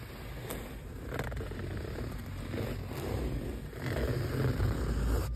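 Fingernails scratch a grey woven mesh car seat cover, likely polyester, stretched over a padded seat. The result is soft, uneven fabric scratching over a steady low rumble, with brief brighter rasps and a gradual rise in loudness toward the end.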